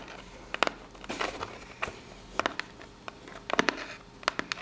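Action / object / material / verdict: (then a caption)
tap / corrugated cardboard box / cardboard / none. Long pink nails tap and scratch the ribbed surface of a small, hollow brown corrugated cardboard box. Sharp, bright clicks come in clusters, some in quick pairs, between softer rasping scratches over a quiet background. Each tap dies away almost instantly with no ring.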